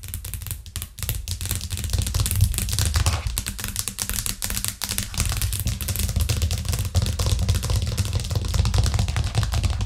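Long nails on both hands tap fast across a thin white plastic cutting board with green edges, lying flat on a cork trivet. A steady, dense patter of short, dry clicks with bright edges runs over a strong low thump for the whole clip, pausing briefly only a couple of times.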